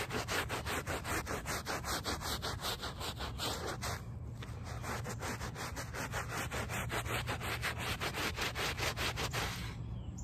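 A small handheld brush with a brown back scrubs the woven fabric backing of a small, wet, soapy, very muddy rug lying on pavement. Rapid back-and-forth strokes make a steady, bright, scratchy swish over a low rumble, easing briefly around the four-second mark before picking up again.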